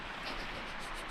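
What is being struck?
Nothing is struck.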